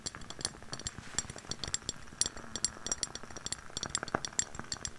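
Long painted nails tap and scratch the sides of a lit candle in a medium clear glass jar with a white label, filled with solid wax and with a hollow upper rim, held in both hands in front of a fluffy mic. Rapid, bright clinks and clicks come with very short ring, over a soft scratchy rustle.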